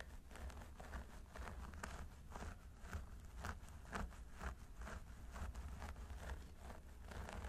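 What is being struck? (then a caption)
Synthetic hair on a plastic mannequin head. Fingertips with short nails scratch and massage the scalp of a solid mannequin training head through its long blonde synthetic hair, using both hands. A quiet, steady stream of dry, crinkly scratching rustles comes in brief repeated bursts over a low, constant rumble.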